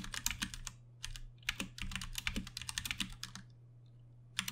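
A Ducky One 2 Mini compact 60% mechanical keyboard with plastic keycaps, Cherry MX Brown switches and RGB backlighting sits on a desk while both hands tap the keys with their fingertips. Quick, bright clacks sound in uneven bursts over a steady low hum, with short pauses and a final burst at the end.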